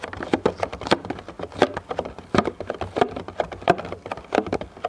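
Fingertips tap rapidly on the top surface of a medium, clear, thin plastic food container, hollow and empty, held in both hands. The taps come as a quick, uneven patter of short, dry, hollow clicks with a mid-pitched knock and almost no ring, over a faint low hum.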